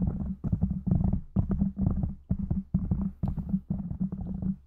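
Fingertips of both hands rapidly tap and scratch a soft, porous black foam windscreen covering a silver condenser microphone. The result is a dense, irregular stream of muffled, deep thumps and rustling scratches with a low rumbling drone, in short bursts separated by brief pauses.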